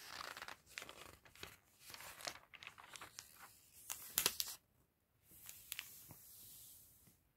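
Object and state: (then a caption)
Glossy paper catalog pages being turned. Hands in a fingerless fluffy mitten and a white cotton glove with red-painted nails turn and flip the pages of a thin glossy paper fashion catalog lying open on a table. The result is quiet, bright crinkling and papery swishes with short sharp snaps, the loudest flick coming just past four seconds, then a brief silence before a softer, steady rustle.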